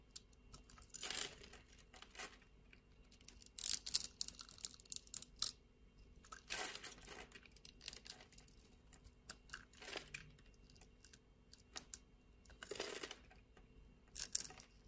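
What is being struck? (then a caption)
Glycerin soap bar. A metal utility-knife blade scrapes across the scored grid surface of a solid, translucent red glycerin soap bar held in the palm, shaving off small cubes. The result is bursts of crisp, bright, crumbly scraping and crunching, separated by quieter pauses with faint crackles.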